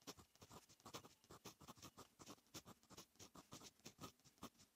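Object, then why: Metal fountain pen nib on lined notebook paper. A fine metal fountain pen nib writes across a lined paper notebook page. Each stroke makes a short, dry scratch, and the scratches come in a quick, steady run of about two dozen strokes. The strokes are quiet, bright and papery, and each one stops almost at once with no ring.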